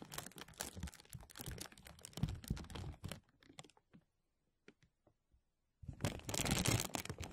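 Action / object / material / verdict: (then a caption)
scrape / thin plastic bag / plastic / none. A thin translucent plastic bag stretched over a mesh microphone is rubbed along its sides by hands, then pinched at the top with fingertips. Dense, bright crinkling with a low rumble fills the first three seconds, thins to a few scattered crackles and a brief silence, then returns in a loud burst of crinkling.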